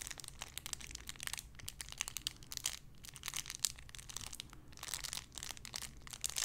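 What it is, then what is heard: Plastic bag with squishy toy. A small clear plastic bag holding a soft pink-and-white paw-shaped squishy is crinkled and squeezed with fingertips and long red nails. A steady stream of bright, crackly plastic crinkling comes in quick bursts with brief quieter gaps, over a faint low rumble.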